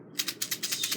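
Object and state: Plastic egg shaker filled with dry macaroni.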